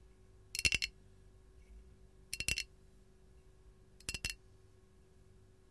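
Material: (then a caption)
Glazed ceramic. Long gold nails on both hands tap a hollow, glazed white ceramic canister with a lemon print. Four quick clusters of bright, clinking taps come at roughly even intervals, with the last cluster cut off at the end. Each tap is sharp and dies away almost at once over a faint steady hum.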